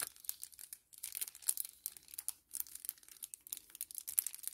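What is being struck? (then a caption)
Small kraft paper-plastic laminate sachet. A small, flat 10 ml kraft paper-plastic laminate sachet is held in both hands, crinkled and rubbed with the fingertips. It makes a quiet, bright, dry crinkling with rapid crackles in uneven bursts, broken by brief silent pauses and with almost no low end.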